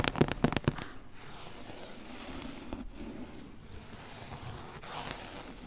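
A large, thick, solid hardcover omnibus of complete novels, with a printed cloth- or paper-covered board cover, is held upright in one hand while long acrylic nails tap and scratch its front cover. Five quick, dry taps come first, followed by a steady, soft scratching rustle across the cover for the rest of the clip.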